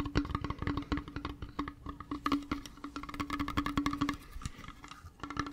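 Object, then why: Small flat metal hip flask with a leather wrap. A small, flat, hollow hip flask with a brown leather wrap and a metal cap and edges is held close to the microphone and tapped rapidly with fingertips and nails on its leather and metal surfaces. The result is a dense run of short, dry, wood-block-like clicks over a steady hollow tone near 290 Hz. The tapping thins out and softens briefly near the end before picking up again.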